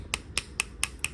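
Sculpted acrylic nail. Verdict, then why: Dry. A sculpted acrylic nail, judged dry, is tapped five times as the reference sound for a dry nail compared with one that is not yet dry. Each tap is a sharp, bright, high-pitched click with almost no ring, separated by brief pauses.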